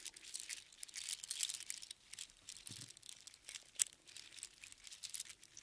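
A strand of small hollow sea snail shells strung together on a string is gathered and shaken in both hands. The shells rattle and crunch in dense, quick, bright clicks with almost no low end and no ring. Clusters of clatter come and go with brief quieter gaps.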